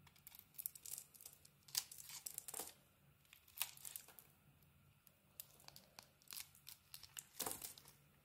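A small metal blade cuts and peels the bright pink outer coating off a solid rectangular bar of soap with a white core. Quiet, bright scraping and crisp tearing, crinkling bursts come in irregular clusters between brief pauses, with almost no low end.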